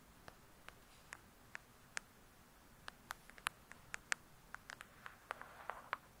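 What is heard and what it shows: Long acrylic nails tap on the glossy paper-covered cardboard cover of a thick, solid hardcover book lying flat, then sweep scratches across it. About 20 quiet, sharp, bright clicks sit apart over a near-silent background, each ringing around 1.7 kHz and dying away almost at once. Near the end, a brief softer rasp from the scratching rises between them.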